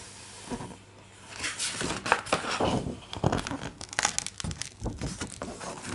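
Fingertips of both hands rub and scratch across the thick, glossy paper pages of an open, large hardcover art book, then tap on them. The result is a dry, rasping paper scraping with bright crinkly edges, broken up by short sharp taps.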